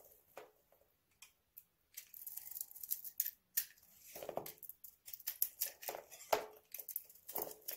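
A hand-sized solid oval bar of dry soap with a purple-white nail-polish coating is held in hand while the coating and soap are scraped and cut off with a utility knife blade. Sharp, dry crunching scrapes and bright cracks come in quick irregular bursts, with brief pauses early on before the cutting becomes steady.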